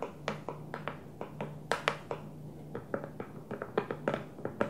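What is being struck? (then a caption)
Plastic food storage container. A small, square, hollow food storage container with a clear plastic lid and a blue plastic base is tapped on its lid and sides with long fingernails and fingertips. Around twenty quick, separate taps make short, hollow plastic clicks with a mid-pitched knock and brief bright edges. A faint low hum runs steadily underneath.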